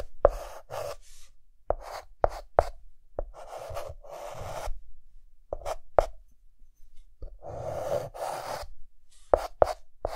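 A white chalk stick held in the fingertips hatches flower petals on a dark green chalkboard. Short, repeated scratching strokes with a gritty midrange rasp and bright hiss are broken up by sharp, quick taps as the chalk strikes the board.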